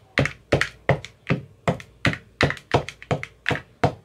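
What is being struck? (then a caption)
Plastic ice cube tray with silicone cups. A white-tipped metal rod taps into the green silicone cells of an empty clear plastic ice cube tray. The result is a steady series of short, dull thunky taps with a low body and a bright crisp edge, some doubled by a quick second tap. Each tap dies away almost at once.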